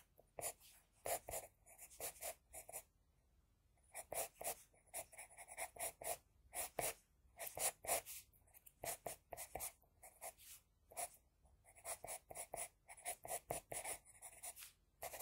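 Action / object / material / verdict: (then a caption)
scrape / sheet of drawing paper scratched with a pencil / paper / none. An HB pencil tip scratches across a flat sheet of drawing paper, sketching hair strokes. Short, dry, bright scratches come in quick clusters with brief pauses between bursts.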